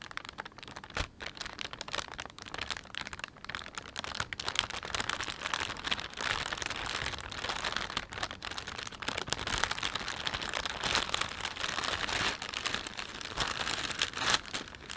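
A thin, empty plastic panda shopping bag is crumpled and rubbed between thumbs and fingers. This gives a steady, bright crackling crinkle with dense, sharp rustles that run through the whole clip at a fairly quiet level.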